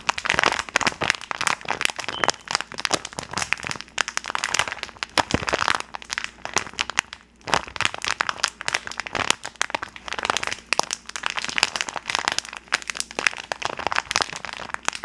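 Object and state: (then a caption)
Plastic candy bag. Gloved hands crinkle and squeeze a medium-size, colorful rainbow-printed plastic candy bag, apparently filled with gummies, above the microphone. The result is a dense, bright stream of sharp plastic crackles and crunches with almost no low end, broken only by a brief lull near the middle.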